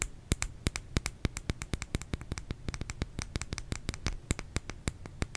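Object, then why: Bar of soap. Fingernails tap on a bar of soap in a quick, uneven run of sharp, dry clicks. Each tap is a brief bright tick over a soft low thud, dying away almost instantly, with a faint low hum between taps.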